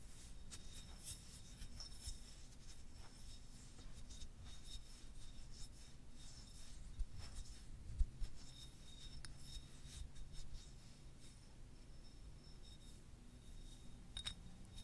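A long, solid white selenite crystal wand is held upright in one hand and rubbed and scratched along its fibrous surface with fingertips and nails. The result is a quiet, steady rasping rub with faint bright scratches over a low, dull rumble, plus a few slightly sharper scrapes along the way.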